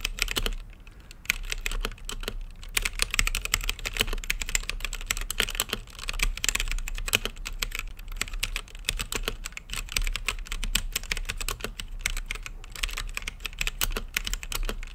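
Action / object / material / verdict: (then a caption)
tap / mechanical keyboard with plastic keycaps / plastic / none. Fingertips type steadily on a mechanical keyboard with plastic keycaps and a clear acrylic lit case. The keystrokes make a dense stream of quick, bright plastic clacks that stop short, over a steady low hum.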